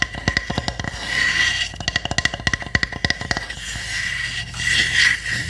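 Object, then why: Small pine wood hamster house. Long nails tap and scratch the roof of a small hollow pine wood hamster house with round holes. Quick, dry, hollow taps come in rapid bursts with a clear tone near 2 kHz, between stretches of bright, hissy scratching.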